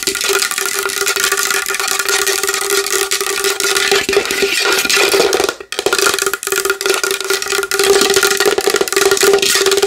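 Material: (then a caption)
Wood. Long nails tap fast and aggressively on a large wooden bowl, making a dense stream of bright, dry clicks over a steady hollow tone around 414 Hz. The tapping pauses briefly past the midpoint, then carries on just as quickly to the end.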